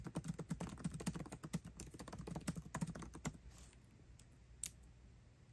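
Both hands type fast with their fingertips on the backlit black plastic keycaps of a 13-inch aluminium MacBook Pro laptop keyboard, tapping the keys continuously. A rapid, uneven stream of short, dry clicks with a soft low thump lasts about three seconds. The typing then stops, leaving near silence broken by one more isolated click.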